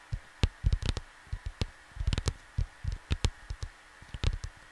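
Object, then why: Cardboard vinyl record sleeve. Fingertips tap softly on a flat cardboard vinyl LP cover, producing a quick, irregular run of dull, low thumps that stop almost instantly. Some taps carry a brief bright edge, and a faint steady hum sits underneath.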